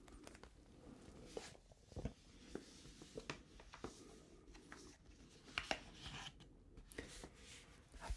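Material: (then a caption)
Foil paper. Fingertips and nails crinkle, scratch and tap a small printed black-and-red rooibos tea pouch, made of foil-lined paper and filled with loose tea, held in both hands. Quiet, dry crackling and scratching run throughout, broken by around a dozen sharp, short taps and crinkles with bright edges over a soft low rumble.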